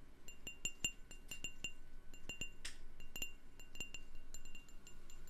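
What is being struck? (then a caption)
Glass candle jar. A candle in a jar is tapped with a steady run of quick, light taps. Each tap gives a short, bright, chime-like ring that dies away fast, with a brief burst of hiss partway through.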